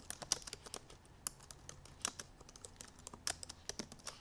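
Long purple nails tap fast across the black plastic keys of a silver aluminum MacBook Pro laptop keyboard. The result is a quick, uneven run of short, bright clicks and taps with almost no low end, a brief lull about a second in, and a few sharper, louder strikes among them.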